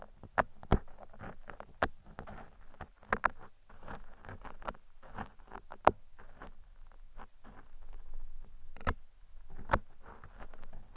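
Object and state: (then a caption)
Foam microphone windscreen. Metal tweezers, held in a hand with long red nails, scrape and pick along the surface of a large black foam windscreen covering a microphone. The sound is a close, muffled patter of soft scratching and rustling, weighted low, with scattered sharp clicks and pops. There is almost no ring after each touch.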